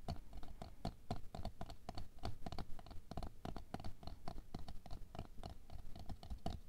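Long nails tap and scratch the side of a tall clear plastic container full of red aqua pearls (water beads) lying on fur. The result is a quick, steady pattering of short, dull taps with no ring, mixed with soft scratching.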